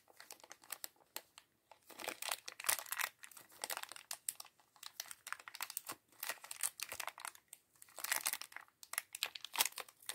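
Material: Thin plastic.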